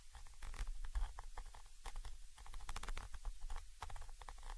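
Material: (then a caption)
Metal. A thin orange stick held in the fingers scratches and taps from the side against the XY microphone capsule of a Zoom H5 recorder, a small chrome metal body with mesh grilles mounted on top of the recorder. Close, dense scraping and quick tapping produce a heavy low rumble, with short bright scratchy bursts over it that stop quickly.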